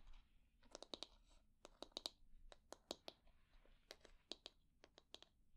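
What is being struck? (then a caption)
Wooden hair brush back. Long nails tap and scratch the smooth back of a solid wooden hair brush. About twenty sharp, bright clicks land at an irregular pace, each dying away almost at once, with soft scratchy rustling between them.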